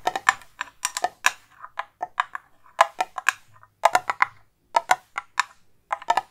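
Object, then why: Metal tin canister tapped with fingernails. A hollow, cylindrical silver metal tin with a lid is held near the mic and tapped quickly with long acrylic nails. The result is a rapid, uneven series of short, crisp clicking taps with a bright metallic edge, no low end, and almost no ring after each strike.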